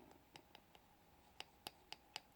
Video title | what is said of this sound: Acrylic Overlay on a broken natural nail | you should hear a nice sort of clicking tapping sound not a soft pad or a squishy sort of soft sound